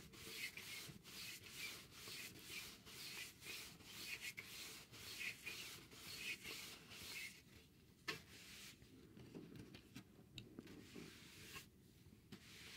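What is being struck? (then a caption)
Cardboard sheet. A wide bristle paintbrush sweeps across a thin, solid, rectangular grey cardboard sheet held upright in one hand. It makes dry, bright, scratchy brushing strokes in a steady back-and-forth rhythm. After about seven seconds the strokes turn softer and more scattered.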